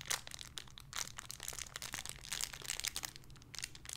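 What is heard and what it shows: A small clear, crinkly plastic bag holding a soft pink squishy toy is held in both hands and crinkled and squeezed with the fingertips and long red-painted nails. The result is a steady run of bright, crackly crinkling bursts over a faint low hum.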